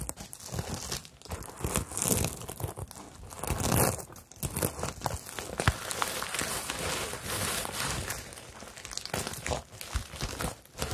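Long nails scratch and fingertips rub across a hollow, medium rainbow bag covered in plastic sequins on fabric, flipping the sequins over. The result is a dense, continuous crinkling and scratching texture with bright hissy highs and soft low thumps from the hollow bag, rising and falling in bursts throughout.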